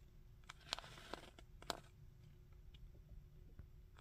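A plastic Magneto action figure is held upright while fingertips tap its helmet, studded collar and chest. About six quiet, dry, bright taps and clicks come at uneven intervals, each dying away almost instantly over a faint low background hum.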